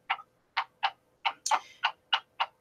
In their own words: Well, I'm just tapping my fingernail against my laptop, scratching it all up, because it's plastic.